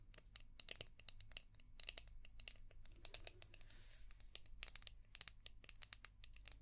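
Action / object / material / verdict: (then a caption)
tap / hard plastic shell-shaped brush / plastic / none. Long painted nails tap and scratch a palm-sized, translucent orange hard plastic brush shaped like a seashell with a ridged back. The result is a quick, irregular run of sharp, bright plastic clicks, with a short scratchy hiss partway through. Everything sits over a faint, steady low hum.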